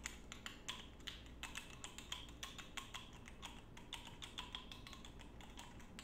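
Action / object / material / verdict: tap / small glass perfume bottle with a metal cap / glass / none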